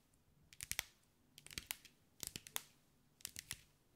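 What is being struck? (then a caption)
Mosaic ball with small glass tiles. Long white acrylic nails tap and scratch over a hand-sized sphere covered in small green mirrored glass mosaic tiles, held in the hands. Quiet, bright, dry clicks with almost no ring arrive in four quick clusters separated by short pauses, with a faint scratchy texture between them.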